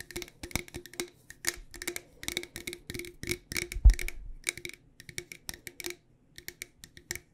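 Long dark nails tap quickly and irregularly on the sides and lid of a medium, decorated, hollow cylindrical metal loose tea tin held in both hands. Each tap is a short, bright click with a faint hollow ring around 350 Hz and 2 kHz that dies away almost at once. The run is briefly busier and louder near the middle, then thins to sparse taps with a short pause before the end.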